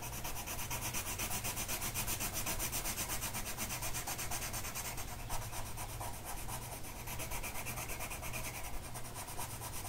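A blue colored pencil tip is rubbed across a flat printed mandala coloring sheet of paper lying on a table and held by one hand. The result is a continuous, bright, scratchy rubbing with rapid back-and-forth strokes at an uneven rhythm over a low steady hum.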